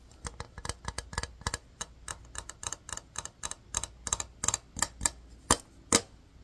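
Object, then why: Small hard-plastic case. A small, hollow, empty, transparent hard-plastic case is tapped and scratched with fingertips and nails. About two dozen short, sharp, bright clicks and scrapes follow one another unevenly, each dying away almost instantly, with the last few taps louder.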